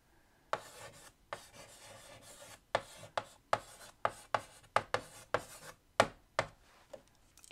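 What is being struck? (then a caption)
Chalk on a wood-framed chalkboard. White chalk held in the fingertips writes a line of text across a large, flat black chalkboard in a wooden frame. About fourteen sharp taps each start a short, dry scratching stroke, with a faint raspy drag between them.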